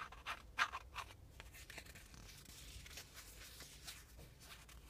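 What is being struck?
Thin printed cardboard air freshener.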